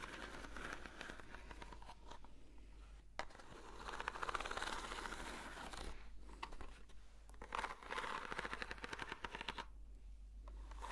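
Long nails scratch the textured surface of a long, hollow corrugated cardboard box held in both hands, making a dense, dry rasping that swells into louder, brighter bursts. Short quiet gaps break up the scratching, all over a faint steady low hum.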